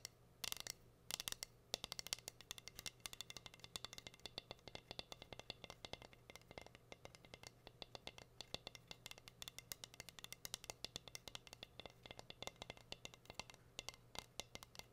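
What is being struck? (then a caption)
Flat wooden cutting board tapped with fingernails. Long nails tap and scratch the face of a plain, solid, flat wooden heart-shaped cutting board. The result is a dense run of sharp, quick clicks and scrapes, bright and dry with almost no ring, over a faint low hum.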